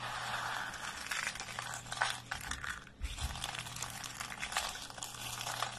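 Fingertips and thumbs pick up small solid pieces from a pile of thin, dry, pale green soap flakes on a wooden surface and crush and snap them between their fingers. The result is a dense, continuous, bright crackling and crunching with many small sharp snaps, easing briefly around the three-second mark before building up again.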